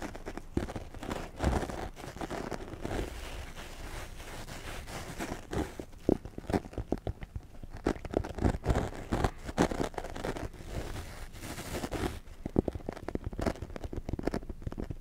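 Fingertips and nails of both hands scratch and squeeze a small, soft black foam windscreen covering a Blue Yeti microphone. The result is a close, muffled stream of crinkly, crunchy scratching with rapid soft bursts, heavy in the low end and with little high brightness.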